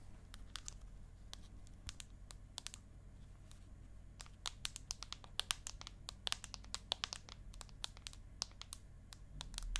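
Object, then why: Aluminium tablet back. Long acrylic nails tap and scratch across the flat aluminium back of an iPad mini held upright. Quick, sharp, bright clicks come in irregular bursts, some clustered close together, with faint scratchy rasps between them. A steady low hum sits underneath throughout.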